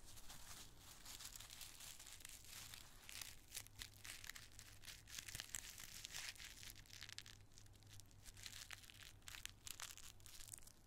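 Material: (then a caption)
Tissue paper. A handful of small, thin, light, empty multicolored tissue paper squares is crumpled and squeezed in the fingers and fist above a pile of more squares. Dense, bright crinkling and crackling runs throughout with many quick sharp snaps, over a steady low hum.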